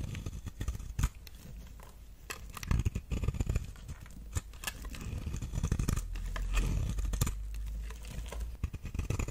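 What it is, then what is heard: Soap bar being carved. A knife blade carves and scrapes long shavings from the edge of a solid, palm-sized brown oval bar of dry soap held in the hand. Crisp, crumbly scraping and crackling strokes come with sharp, bright clicks over a dull, low thudding rumble, and the strokes swell louder toward the middle of the clip.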